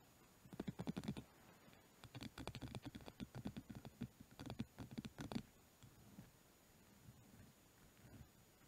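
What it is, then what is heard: Hand brush, tapped and scratched. Fingertips and medium-length nails tap and scratch along the cream-coloured handle and stiff natural bristles of a small hand brush lying on a fluffy blanket. Quick, dry, close-up bursts of scratchy ticks with a soft low-mid body come in rapid clusters for about five seconds. They then fade to a few faint, sparse scratches.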